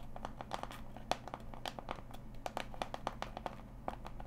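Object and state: Cardboard box tapped with nails.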